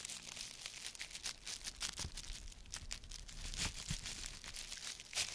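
An empty, thin plastic produce bag with green print is held in one red-gloved hand and crumpled and squeezed repeatedly while the other hand rests on the table. The result is a continuous stream of bright, dry crinkling and crackling with sharp snaps scattered throughout, plus a faint low rumble underneath.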